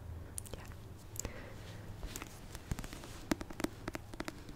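Fingers tap repeatedly on a paperback copy of the Christmas rom-com book "A Merry Little Meet Cute," producing quick, dry, papery knocks over a low background hum. The taps come in an uneven rhythm, with a cluster of sharper ones near the end.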